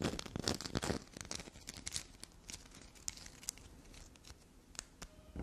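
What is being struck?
Bar of soap.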